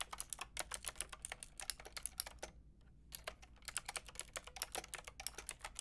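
Long painted nails and fingertips type on a white-and-pink Lofree mechanical keyboard with round plastic typewriter-style keycaps and a hollow plastic case. The result is a quick run of bright, sharp plastic clicks and clacks with a brief pause about halfway through before the typing resumes.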